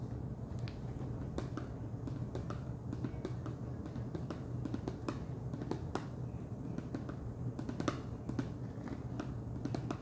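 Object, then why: Plastic screw lid of a snack jar. Fingernails tap on the top of the wide orange plastic screw lid of a large clear plastic jar full of Chester's Cheddar Paws cheese puffs. Quick, light, clicky taps come at an uneven pace over a steady low hum, each dying away almost at once.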